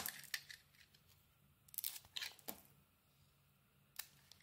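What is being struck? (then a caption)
Solid bar of soap cut with a knife blade. A utility knife blade peels and carves a solid bar of soap, red outside and cream inside. The soft, crisp scraping and crunching comes in uneven bursts, bright and airy with almost no low end. Quiet pauses fall between the cuts.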